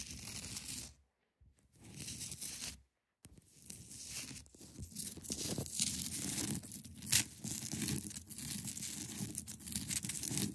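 Long acrylic nails scratch the top and sides of a large, solid, clear ice block resting on a carpet. The result is a bright, raspy, tearing-like scraping with a few low thumps. Two short silences break it early on, then it runs almost continuously with one sharper, louder scrape around the seven-second mark.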